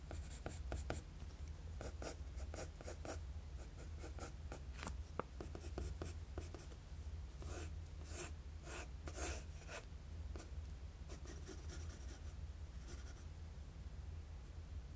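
A wooden graphite pencil draws strokes across a flat sheet of drawing paper, making quiet, bright, scratchy rasps in short bursts and longer sweeps. A steady low hum sits underneath throughout.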